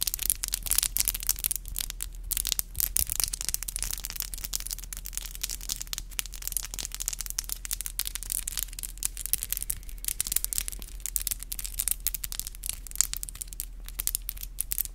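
Long black glossy acrylic nails click and tap against each other nail-on-nail, with some rubbing, in a steady stream of rapid, sharp, bright clicks across the whole clip. Each click is crisp with almost no ring, and a steady low hum runs quietly underneath.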